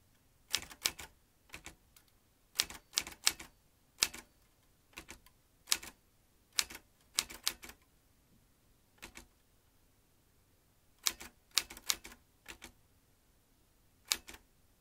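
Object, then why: Metal manual typewriter keys and typebars. Fingertips tap the chrome-ringed round keys of a vintage metal manual typewriter, swinging its metal typebars. About two dozen sharp, bright clacks come in irregular bursts of two or three with short pauses between. Each strike dies almost instantly and has almost no low end.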